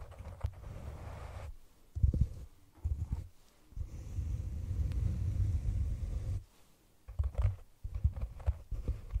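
Long painted nails of both hands tap and scratch the sides of a hollow, round brown cork container placed over the microphone. The sound is deep and muffled, almost all of it low rumble: sustained scratching stretches alternate with short, dull taps and brief quiet gaps.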